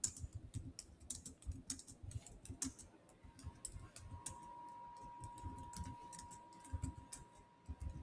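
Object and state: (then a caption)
Laptop keyboard with plastic keys. Fingertips type on the black plastic chiclet keyboard of a silver Samsung laptop, its solid keys giving quick, dry clicks with bright ticks over soft low thumps. The keystrokes come in an irregular, steady stream, and from about three seconds a faint steady tone near 1 kHz hums beneath the typing until the end.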